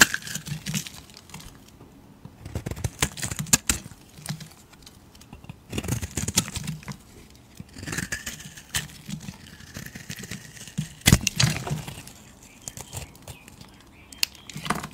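A flat metal blade scrapes a hand-sized solid bar of dark grey soap held in the hand, peeling off thin flakes. Short bursts of dry, crinkly scraping come in clusters, with bright crackle and low rustle between quiet pauses. A few sharp clicks stand out as the flakes come away.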